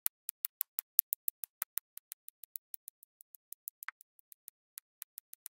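A pink plastic drill pen with a waxed tip taps small square cream-colored resin drills onto a flat, sticky-coated diamond painting canvas lying on a table. About 27 quick, quiet, bright clicks come in a steady rhythm, each one dry and sharp with no ring or low end.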